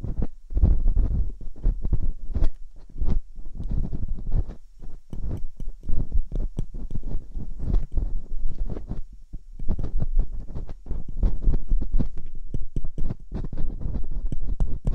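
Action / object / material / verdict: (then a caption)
scrape / silicone ear of a binaural microphone / silicone / none. Metal dental picks scratch and poke inside the ear canals of two soft silicone ears on a white binaural microphone. The result is a dense stream of short, muffled, low thuds and rubbing scrapes with faint bright clicks, rising and falling in loudness throughout.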